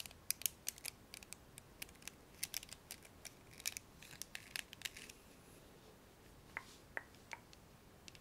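Fingernails pluck and scratch the black plastic pins of a blue plastic hairbrush. The result is quiet, bright, dry clicks and ticks that come thickly for about five seconds, then thin out to a few isolated snaps over a soft hiss.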